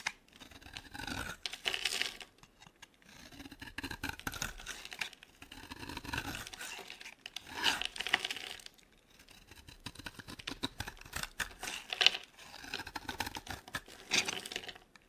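A solid, oval, dry green soap bar held in the palm is carved with a metal blade into crisp shavings. Bright, dry scraping and crackling comes in repeated bursts with brief pauses, each cut crisp and quick with no ring.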